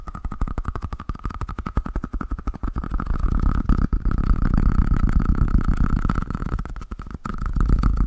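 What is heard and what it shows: A solid, palm-sized yellow Pikachu-shaped squishy toy made of soft foam is held in one hand and tapped quickly with the fingertips of the other. The result is a fast, uneven stream of soft, muffled low thuds, roughly four per second, with a faint steady mid tone underneath. The tapping grows denser and louder after the first few seconds.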